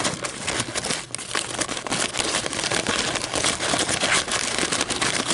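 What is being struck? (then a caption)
Paper coffee filter. Long almond-shaped metallic nails scratch and crinkle the ridged sides of a thin, empty white fluted paper coffee filter, a hollow cup shape resting on a table. The result is a steady, bright, dense crinkling and scratching texture with many quick crackles and no clear pauses.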